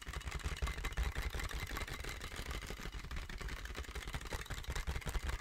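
A medium-sized sheet of clear inflated plastic film air-column packaging, with hollow air-filled tubes, is held in both hands and tapped, squeezed and scratched with the fingertips close to the mic. The result is a dense, irregular stream of soft, low, hollow thumps mixed with bright crinkly scratching that continues throughout.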